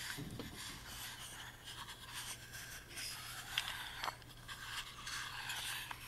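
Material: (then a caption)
Wood. Fingertips and nails rub and scratch across the wooden surfaces of a tiny hollow carved wooden music box, first the screwed bottom panel and then the carved lid. The result is a continuous, quiet, bright scraping texture with a few sharper scratch accents, over a faint steady low hum.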